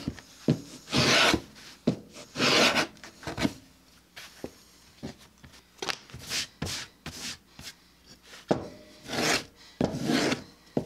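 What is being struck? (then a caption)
Vegetable-tanned leather sheet. A thin 3–4 oz sheet of tan vegetable-tanned belly leather lies flat on a wooden workbench, held down by one hand. A small red hand planer scrapes and shaves its rough flesh side in repeated strokes. Each stroke makes a dry, bright rasping hiss, separated by short quiet gaps and light taps.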